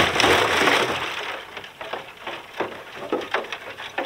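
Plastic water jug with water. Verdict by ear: Frozen.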